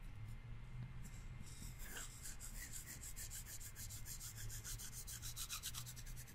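A pair of thin, solid wooden chopsticks is held crossed near the microphone while fingertips rub and scrape one along the other. Quiet, dry rubbing opens the clip, then a quick run of bright, rhythmic scraping strokes takes over from about 1.5 seconds to the end, over a steady low hum.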